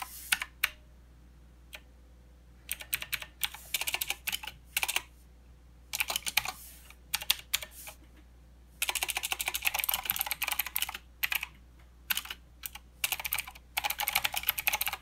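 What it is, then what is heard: Plastic mechanical keyboard. Fingertips press the arrow and right-side keys of a plastic mechanical keyboard with clicky blue switches, then type on its main plastic keys. Bright, sharp clicks come in irregular bursts and flurries separated by short pauses, over a faint steady low hum. The typing grows denser and more continuous toward the end.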